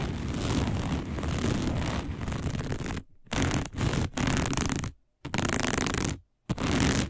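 Long nails on both hands scratch fast across a round, dark, coiled woven fiber placemat. The result is a dense, rough scraping noise with heavy low rumble and bright hiss. It runs steadily for about three seconds, then breaks into several shorter bursts separated by brief silences.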